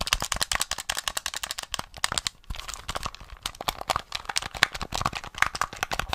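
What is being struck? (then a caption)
Plastic gamepad. Fingertips quickly tap and click the buttons and shell of a small, hollow, grey plastic SNES gamepad held in the hands. A fast, steady stream of sharp, dry, bright clicks and taps comes through with almost no low end. The stream pauses briefly midway, then resumes just as rapidly.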